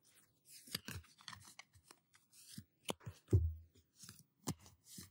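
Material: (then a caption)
Paper card. A small, solid deck of paper playing cards with pink patterned backs is held in both hands and riffled and shuffled with the fingertips close to the microphone. Quiet bursts of crisp, papery flicking and rustling come in short separate runs, with soft low thumps beneath them and one louder snap of the cards partway through.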